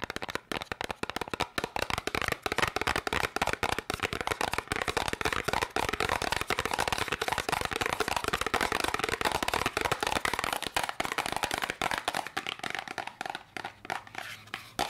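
A small, hollow yellow and red cardboard candy box is tapped rapidly with long pink nails. The result is a dense, continuous stream of dry, crackly clicks with a bright, papery tone and almost no ring. The tapping thins out and grows quieter over the last few seconds.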